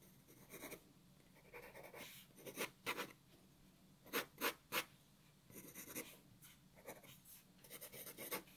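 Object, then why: Graphite pencil on paper sheet. A black wooden graphite pencil held in the fingers scratches sketch lines across a white A4 sheet of paper lying flat on a wooden table, while the other hand rests on the table. Quiet, bright, dry scratching strokes come in irregular bursts, some short and sharp and others longer and more rubbing.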